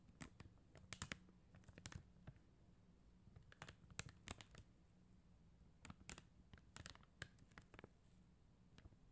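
Long teal acrylic nails tap rapidly on a flat sheet of clear and blue faceted plastic gem stickers on white paper backing. The result is quiet, sharp, bright clicks that come in irregular bursts and die away at once, over a steady low hum.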